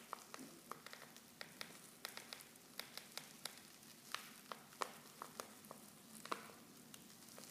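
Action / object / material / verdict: scrape / foil tea pouch with loose tea / foil / none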